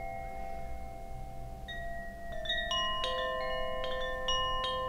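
A hollow bamboo Koshi wind chime with metal rods is held up by its string and moved back and forth by hand, so its internal clapper strikes the rods. Bright, sustained chime tones ring out and overlap in an irregular, shimmering cluster that builds over a low background rumble.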